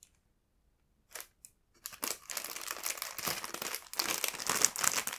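A full, clear plastic tray bag of strawberry triangle buns is held and pressed with the fingertips, crinkling the plastic. After a near-silent start, two brief crinkles come at about 1.2 and 1.5 seconds. From about 1.8 seconds, dense, bright crackling crinkles run steadily to the end, with only a short dip near 3.9 seconds.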